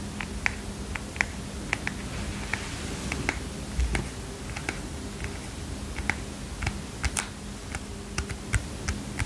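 Long fingernails tap on a small heart-shaped paper mini notepad with a kitten print, a solid stack of paper held in the hands. A steady string of quick, dry, bright clicks sounds over a faint low hum, each tap dying away at once.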